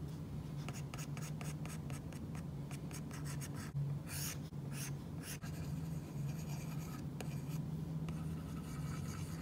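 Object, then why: Plastic stylus tip on a glass tablet screen under a matte plastic film. An Apple Pencil's plastic tip drags and taps across a tablet-sized flat glass iPad screen covered by a matte, paper-like plastic screen protector in drawing strokes, with fingertips also touching the surface. Soft, bright scratching strokes and quick ticking taps sit over a steady low hum, with a few longer, brighter scrapes near the middle.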